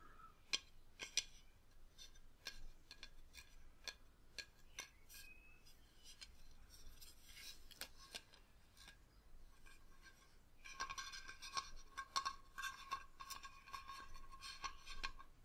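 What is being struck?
Plastic fiber-optic light-up decoration.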